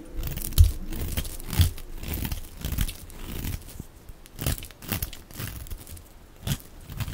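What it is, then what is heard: Soap bar being shaved with a knife. A knife blade scrapes and shaves thin flakes off a solid, dry, hand-sized lilac oval soap bar held in one hand. Each stroke gives a short, dry crunch with a crumbling, tearing texture, mostly dull and low, with brief bright edges. The strokes repeat roughly once a second at an uneven pace, with almost no ring after each one.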